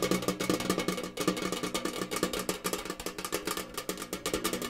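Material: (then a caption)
Tinplate. A tall, rectangular, hollow printed metal cereal tin, its picture-covered back side facing out, is held up and tapped rapidly with fingers and nails. The result is a dense stream of quick, hollow metallic taps with a tonal ring around 320 Hz that fades almost instantly after each hit.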